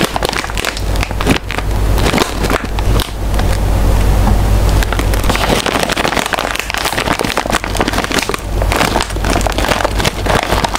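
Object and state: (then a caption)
Foil snack bag crinkled and tapped. A small, full, sealed metallized-plastic chip bag is held up in one hand while fingers and nails crinkle and tap it. Dense, crackling rustles and sharp taps sound over a steady low rumble.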